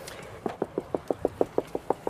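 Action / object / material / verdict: tap / tuffeau limestone block / limestone / hollow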